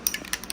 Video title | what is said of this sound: The curse of the 4F 😡 | hence the name rattle can, yeah, it's got a ball bearing in the bottom of this, so it shakes up all the chemicals inside